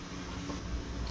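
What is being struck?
Nothing is struck.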